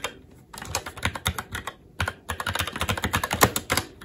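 Fingertips of both hands type on a SteelSeries Apex 7 TKL mechanical keyboard with red linear switches, plastic keycaps and a metal top plate. Quick, short clacks come in uneven bursts with brief pauses in between. Each keystroke is bright and crisp with a light low thud underneath.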